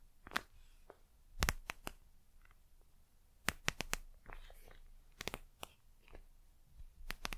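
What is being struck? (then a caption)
Gel eye mask with plastic cover. Long nails tap and scratch the glossy plastic gel surface of a gel eye mask with a plastic cover. Sharp, bright clicks come in quick clusters, with soft crinkly scraping between them over a quiet background.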